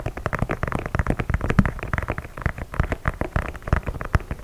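Fingertips and nails tap and scratch the leather upper of an empty white leather low-top sneaker in Air Force 1 style, with laces, held up close to a microphone. The result is a rapid, continuous stream of soft, dry, muffled taps and scratchy rustles, mostly low in tone with almost no ring.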